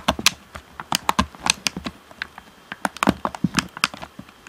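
Fingertips tap the hollow black plastic shell of an Xbox One controller and press its buttons and d-pad, making about 17 quick, irregular clicks and taps. The sound is dry and bright, each tap ending almost at once.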